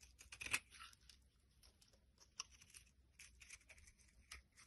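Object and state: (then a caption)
Bar soap being carved. A utility blade carves chunks and flakes off a solid pink bar of soap held in the hand. Quiet, dry, crisp scraping and cutting strokes follow one another irregularly, bright and mostly high-pitched with almost no low end, the sharpest stroke coming near the start.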